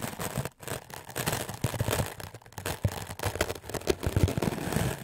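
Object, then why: Melamine foam sponge scrubbed with a stiff-bristled brush. A wooden-backed clothes brush with dark, stiff bristles is scrubbed quickly back and forth over a solid, white, rectangular melamine foam magic eraser block held in the hand. The result is a dense, continuous scratchy rasping with a soft, low-heavy body, broken by brief pauses between bursts of strokes.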